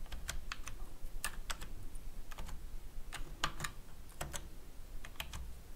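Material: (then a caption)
Plastic. Fingertips with short painted nails type quickly on a black, full-size plastic computer keyboard with hollow key caps, making rapid key presses and taps. The bright, sharp clicks fall in an uneven rhythm over a steady low rumble, each decaying almost instantly.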